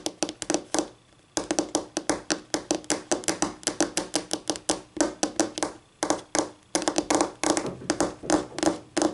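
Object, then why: Laminate tabletop. Polished acrylic nails on both hands tap rapidly on a flat, solid white laminate tabletop, producing quick bursts of sharp, bright clicks with a hollow knock around 312 Hz. Each tap dies away almost instantly, and the runs of tapping break off in brief pauses before starting again.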